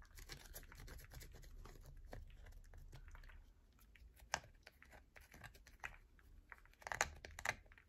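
A solid yellow bar of soap held in the palm is scratched hard with long nails, giving a dense, steady rasping scrape for the first few seconds. The scraping then breaks into sparser, sharp crisp clicks and short bright scratches with quiet gaps between them.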